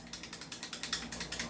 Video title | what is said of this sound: Review N Unbox of 2011 JWC Sand Viper | Kung ang unit mo, ganito ang performance, kumakalog